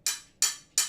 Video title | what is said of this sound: Immerse Yourself in the World of Stained Glass: Join ARTyRV's Glass Studio Livestream! | if you tap on either side of the score, it's not going to break